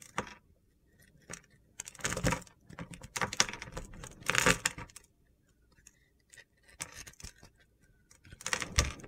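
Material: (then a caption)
Soap. A utility knife blade carves brittle white flakes off a scored, pink-purple glitter bar of soap held in the hand. Bursts of gritty, crunchy scraping, bright in the high frequencies, come between short quiet gaps.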